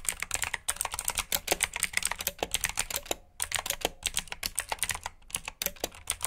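Fingertips with short nails type on a full-size black plastic mechanical keyboard with RGB backlit keycaps, clicky blue switches and hollow key housings. It produces a rapid, steady stream of sharp, bright clicks with very short decay, and brief pauses near 3.3 and 5.5 seconds.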